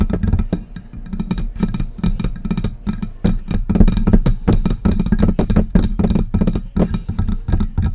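Long press-on nails tap and scratch the hollow body of a silver metal desktop USB microphone. The result is a dense stream of quick, close-up taps with deep, boomy low thuds centered near 210 Hz, short ringing and a faint bright click on each strike, mixed with scratching.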